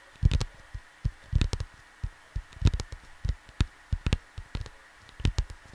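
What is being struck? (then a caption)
Cardboard LP record sleeve. Fingertips tap softly on a flat cardboard vinyl LP sleeve, producing short, dry, low thumps in irregular single hits and quick clusters. The thumps die away almost instantly, with a faint steady hum in the background.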